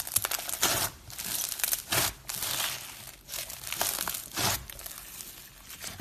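Soft pink floam slime packed with small foam beads sits in a solid mass on a white table as both hands squeeze and knead it, then spread it flat and fold it. Dense, bright crunchy crackling pops from the beads come in repeated bursts, with little low end and quiet gaps between squeezes.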